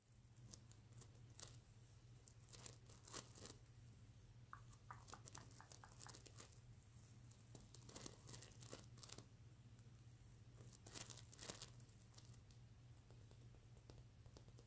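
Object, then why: Plush pillow covered in plastic sequins. Fingertips and medium nails scratch and flip the reversible iridescent plastic sequins covering a medium soft unicorn pillow, producing crisp, bright crinkling and tearing-like bursts with sharp ticks. The scratches come in irregular waves over a steady low hum, with a brief run of lighter clicking flips near the middle.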